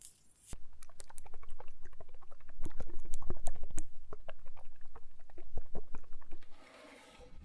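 Long acrylic nails tap and scratch a small, closed, rectangular frosted glass bottle with a round wooden stopper, possibly a perfume or diffuser bottle. A rapid, slightly uneven run of about twenty bright, short clicks builds up and then eases off. It ends in a soft, scratchy rustle.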